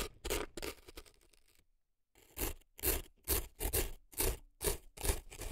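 A dark earpick scrapes inside the canal of a right silicone elf ear packed with dry floral foam, making crisp, gritty scratching strokes in a steady rhythm. Faint rustling scrapes open the clip, then it drops to near silence before louder, bright scraping strokes return at regular intervals.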